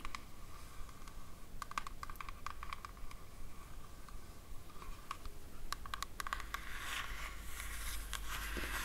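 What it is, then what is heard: Cardboard gift box. A small square cardboard jewelry gift box with a red and green floral print is held in both hands and tapped with long matte black nails. Quick, dry clicking taps come in irregular bursts over a low background hiss, with brief scraping toward the end.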